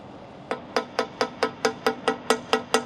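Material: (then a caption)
Concrete. A hammer taps a freshly cast concrete cantilever section, the second part of the structure, which came out dark. Eleven evenly spaced, sharp tapping knocks each carry a clear tone of about 445 Hz with a bright, high edge and a very short ring. There is almost no low end between the taps.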